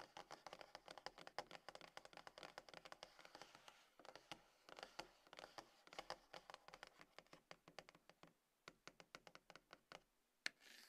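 A small, closed, hollow dark grey cardboard iPhone box resting on a table is tapped with the long nails and fingertips of both hands. Rapid bursts of light, dry, clicky taps carry a bright edge and almost no low end, with each tap dying away instantly. The flurries briefly pause around the four- and eight-second marks before the tapping resumes.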